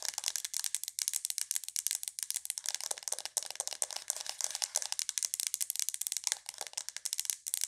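Long nails tap rapidly on the sides of a hollow white plastic aroma diffuser. The result is a fast, continuous stream of dry, bright clicks with almost no low end and no ring after each tap.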